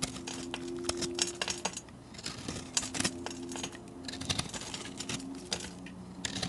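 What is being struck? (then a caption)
Bar of soap carved with a metal blade. A metal blade scrapes and carves crumbly shavings from a solid bar of multicolored chunk soap held in the hand. Bright, dry crunching and scraping come in quick, irregular bursts, with a faint steady low hum beneath.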